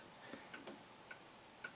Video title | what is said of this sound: COAL vs. CBTO & Measuring Max CBTO w/ Hornady LnL OAL Gauge | make sure you can hear that tapping against the end of your chamber wall you want it to go in and stop